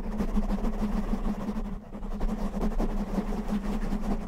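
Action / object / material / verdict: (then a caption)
scrape / foam microphone windscreen / foam / none. Fingertips and short nails, mostly with both hands, scratch a black foam windscreen covering a microphone. The result is a dense, continuous rustling scratch over heavy low rumble, with a steady low hum near 215 Hz. There is a brief dip in level just before the two-second mark.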